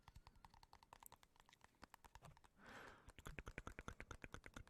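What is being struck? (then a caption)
Plastic jar lid. Fingertips tap rapidly on the plastic lid of a jar of coconut oil, making quick, dry, clicky taps with a low thud. Midway the tapping pauses for a short soft hiss, then resumes slightly louder and more evenly spaced.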